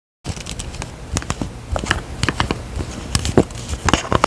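Long painted nails tap and scratch the white plastic pump head and body of a hollow, medium blue plastic skincare bottle. Quick, dry clicks and ticks are heard over a soft, continuous scratchy rustle. The hits are short and bright and die away almost at once.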